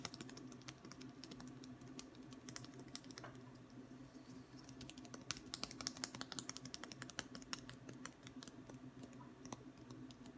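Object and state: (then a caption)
Wooden ruler. A long, thin, solid wooden ruler held in the hands is tapped with the fingertips in quick succession. The taps come as a steady stream of short, dry, bright clicks that die away almost instantly, over a faint, steady low hum.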